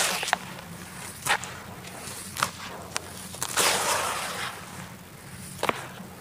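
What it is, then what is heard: Dry cement-dirt clumps. Bare hands scoop, squeeze and crumble grey dry cement-dirt lumps in a basin filled with the powder, and the powder drops back into the basin. Short, sharp, gritty crunches and crackles pop out over a steady dry rustle, with a longer sandy hiss as powder pours down. The crumbling sounds bright and brittle, with little low end.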